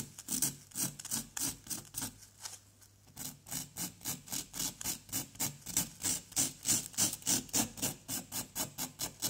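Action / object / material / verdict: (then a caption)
scrape / plaster excavation block scraped with a wooden pick / plaster / none. A wooden pick rapidly scrapes and chips at a solid orange-yellow plaster dig block resting on cardboard, working around an embedded white item while the other hand holds the block. The short, bright, gritty scratching strokes repeat at about three to four per second, with a brief quieter pause near the two-to-three-second mark before the strokes resume more strongly.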